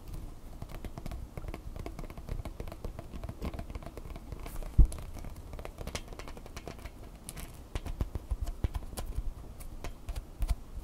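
Long fingernails scratch along the bumpy, bendable legs of a red plastic flexible tripod, producing a quiet, rapid run of small ticks and rasps. The sound stays soft and mostly low, with one sharper, louder click near the middle and a few brighter flicks toward the end.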